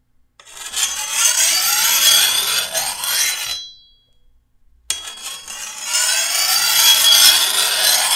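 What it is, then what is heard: Steel machete blade being filed. A hand-held steel file is drawn along the edge of a long, thin, solid steel machete blade in two long rasping passes separated by a short pause. Each pass is a bright, gritty scrape with almost no low end, and the blade gives a brief high metallic ring as the first pass ends.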